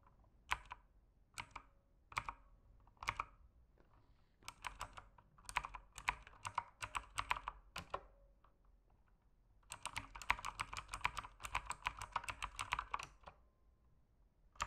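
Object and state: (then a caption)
Plastic mechanical keyboard. Fingertips type on a backlit mechanical keyboard with plastic keycaps at a slower pace, opening with a few spaced keystrokes before settling into irregular bursts of typing. Each press is a short, dry plastic click centered near 1 kHz with bright upper edges. After a brief pause comes a denser, faster run of keystrokes, then a final single tap.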